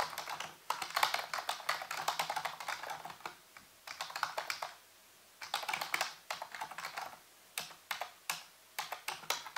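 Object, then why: Plastic computer keyboard. Fingertips type rapidly on a full-size black plastic keyboard with hollow keys, set on a white base. Bursts of quick, bright plastic clicks are broken by short pauses, each tap short and dry with almost no ring.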